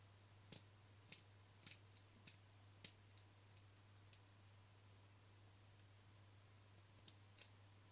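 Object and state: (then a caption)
Plastic camera lens cap. Fingernails tap and scratch the rim and face of a small, flat black plastic camera lens cap held between the fingers. Sharp, bright clicks come in an uneven run during the first three seconds, then sparsely after a pause, over a steady low hum. Each click is very short, with almost no ring.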